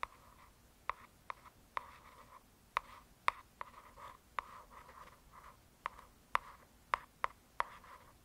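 Long nails slowly scratch and trace over the glossy printed cover of a solid hardcover "True Crime" paper book. Thirteen sharp, dry nail clicks stand out above soft, raspy scratching that centers around 1 kHz, with a quiet background and almost no low end.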